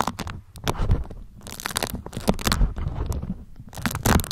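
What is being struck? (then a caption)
Beeswax-coated cotton food wrap. Long acrylic nails pinch, crinkle and scratch a thin, flexible, pale yellow beeswax-coated cotton food wrap, held in both hands and draped over the microphone. The result is close, uneven bursts of waxy crinkling and crunching with short, bright scratchy streaks over a muffled, low-heavy rustle.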